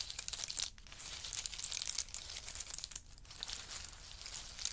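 Two wooden spoons dig into and stir a heap of in-shell pistachio nuts resting on a fur mat. The result is a steady, bright crackling and rattling of hard shells clicking against each other. It dips briefly into quieter moments before the stirring picks up again.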